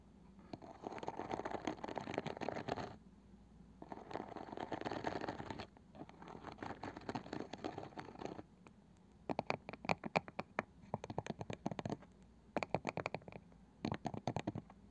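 Long nails scratch across the pale wooden lid and edge of a palm-sized round wooden box with a woven side, making three stretches of dense, raspy scratching in the first eight seconds. Then the nails tap and the fingers drum on top in quick clusters of short, dry, woody clicks with almost no ring.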